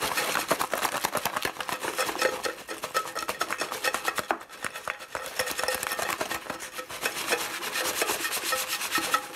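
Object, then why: Composite cardboard chip can. A full, unopened Pringles Tortilla Fiery Chilli can, a tall hollow composite cardboard tube with a printed paper wrap and metal end, lies on a wooden board. Fingertips and medium-length nails scratch and tap along its side while the hand rolls and rubs it. The result is a steady stream of dry, papery scratching and quick hollow taps with bright, rasping texture and almost no low end.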